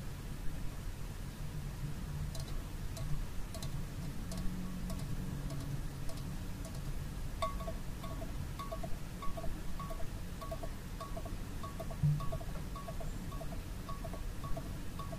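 A small red TWG metal tea tin, hollow with its lid on, is held in the hands while fingernails tap its lid and body. Light, bright metallic clicks and short ringing taps repeat over a low, steady rumble of background noise.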